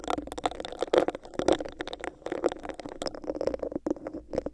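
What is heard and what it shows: Long nails scratch the textured sides of a hollow, clear, bumpy plastic cup placed over a microphone. A rapid series of dry, scratchy bursts and scrapes carries a hollow midrange tone with bright crackle, each stroke dying away almost instantly.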